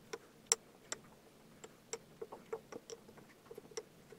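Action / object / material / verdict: tap / kinetic sand in a glass tumbler, pressed with a wooden muddler / sand, glass / none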